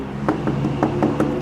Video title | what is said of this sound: Calcium Spots Removal, Main Drain Replacement, Vac Lock, Partial Acid Wash | so that they can hear the hollow sound